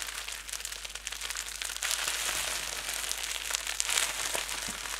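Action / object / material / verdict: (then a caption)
scrape / plastic bubble wrap / plastic / none. A wad of clear plastic bubble wrap held in both hands is squeezed and twisted with fingers and thumbs. It gives a steady, bright crinkle and crush with dense small crackles throughout, growing slightly louder after the first two seconds.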